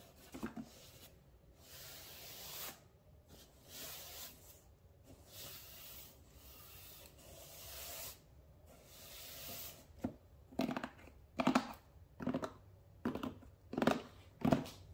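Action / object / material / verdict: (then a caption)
scrape / cardboard shipping box / cardboard / none. Long nails and fingertips scratch and rub the sides of a closed, hollow, medium-size brown Amazon cardboard shipping box standing upright on a counter. Soft, breathy rasping strokes sweep across the cardboard in the first part, then give way to sharper, louder scratching bursts with a hollow papery resonance toward the end.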